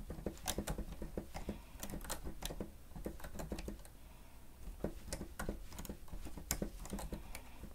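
Fingertips from both hands type steadily on the plastic keys of a stenotype machine resting on a stand. Quick, dull clicks come in short bursts with bright ticks on top, over a steady low hum, easing into a brief quieter lull midway before the tapping picks back up.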